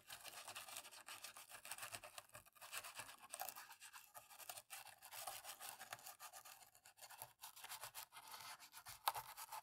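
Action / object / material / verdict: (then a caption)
scrape / plastic laptop keyboard scrubbed with a cotton swab / plastic / none. A thin cotton-tipped stick scrubs and scratches in short, rapid strokes into the gaps between the black plastic keys of an open, dirty black laptop keyboard. The result is a continuous, quiet, bright scratchy rustle with a fast, uneven rhythm and one sharper click near the end.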